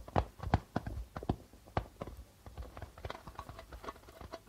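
Fingers give quick flicking taps on the plastic head of a hollow darbuka drum while the other hand rests on top. A fast, uneven run of dry, muted thumps follows, with low body and almost no ring, the early taps louder and the later ones softer and busier.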